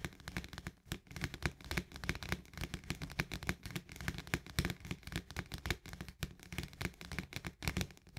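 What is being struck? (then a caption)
Plastic lid on a paperboard canister. Fingertips and long nails of both hands rapidly tap and scratch around the rim and surface of the green plastic lid on top of a paperboard barley canister. The clip is a dense, continuous patter of short, dry taps with a low, hollow thump and bright clicking and scraping edges. Each hit dies away almost at once.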